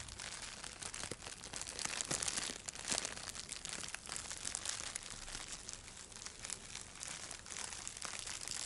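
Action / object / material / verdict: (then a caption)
scrape / thin plastic cellophane bag / plastic / none. A thin, light-blue, crinkly plastic cellophane bag is held in both hands and crumpled and rubbed with the fingers. The result is a continuous dense crackle of bright, high crinkling with quick sharp snaps and no low rumble.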